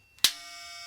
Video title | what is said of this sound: The 5 Minutes That Proved Einstein Right - FULL DOCUMENTARY | it rang for about 1 month after you pinged it like this